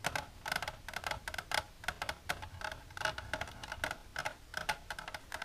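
Long silver nails tap against the inside walls of a long, empty, clear plastic tray with a divider, lying on a table. A rapid, irregular run of short, dry plastic clicks centered in the midrange with bright edges, each dying away almost at once.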